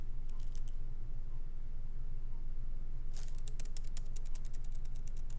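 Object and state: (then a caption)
Laptop keyboard with plastic keys. Both hands type lightly with their fingertips on the plastic keycaps of a MacBook Pro laptop with an aluminum body, resting on a wooden desk. A few faint, bright key taps come early over a steady low hum, then denser, quicker clicking fills the second half.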